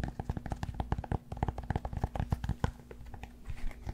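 Fingertips and nails of both hands scratch and tap a rectangular solid cork yoga block held in front of a fluffy microphone. A rapid run of dull, dry taps blends with soft scratching, each hit stopping almost instantly with a deep, muffled thump and no ring.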